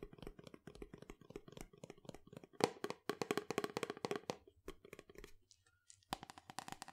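A tall cylindrical cardboard powder canister with a yellow plastic lid is tapped with fingernails on the lid and the sides. About thirty short, dry, hollow clicks come in quick, uneven bursts, with a brief pause before a final few sharper taps.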